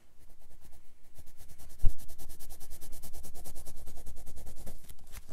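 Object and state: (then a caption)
Colored pencil scratching on a paper sketchbook page. A dark red colored pencil makes about thirty quick scratching strokes on a grey page of a spiral-bound paper sketchbook resting on a wooden desk. The strokes form a steady, rhythmic, bright scratching pattern over a low rumble, with one louder bump near the start.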